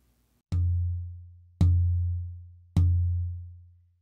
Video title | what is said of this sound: Lutherie Demystified Ep. 9 - Concepts: Understanding and Selecting Soundboards, Part 2 | you can hear that there's a difference in Pitch and also complexity